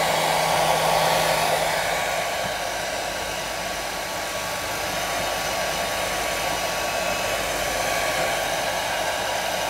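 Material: Nothing is struck.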